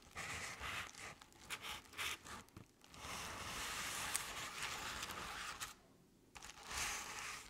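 Long nail tips scratch the sides of a crepe-paper covered decorative pumpkin near its base. The result is a bright, papery crinkling rasp that comes in uneven strokes, with a brief quiet pause near the end before the scratching resumes.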